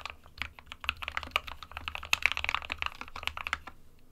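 Fingertips of both hands type continuously on a small 60% SK61 mechanical keyboard with a plastic case and plastic keycaps, hollow with switches inside. The keys give a rapid, uneven stream of bright, sharp clacks that cut off almost instantly with no ring, over a faint low hum.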